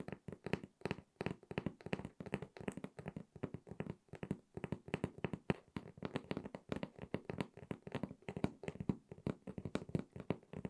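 Long red acrylic nails tap rapidly on the top of a closed, hollow, medium corrugated cardboard shipping box resting on a table. The result is a steady, fast stream of short, dry, hollow taps with a muffled low body, little brightness and almost no ring after each hit.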